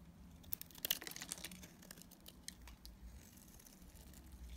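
A utility knife blade cuts and scrapes shavings from a dried, solid pink striped Dalan soap bar held in the hand. The result is quiet, bright, crisp crackling and scraping ticks, densest in the first half, over a low steady hum.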